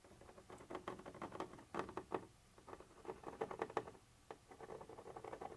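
A thin metal pointer tip, held by hand, scratches and taps across a white translucent textured plastic surface. The result is a quiet, rapid, irregular patter of dry scratchy clicks centered in the midrange. It comes in clustered bursts separated by brief pauses.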